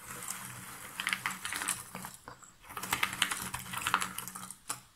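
Hands stir a pile of cardboard jigsaw puzzle pieces in a box lid, then lift pieces and let them fall back. The result is a dense, bright rattle of quick dry clicks and rustles. It pauses briefly near the middle before the clatter picks up again.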